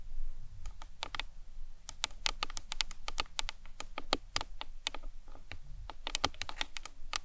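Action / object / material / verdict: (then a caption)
tap / plastic anatomical skull model / plastic / none. Long nails tap quickly along the sides of a hollow plastic anatomical skull model, making a rapid, uneven run of short, bright clicks that die away almost at once. A steady low hum sits beneath the taps throughout.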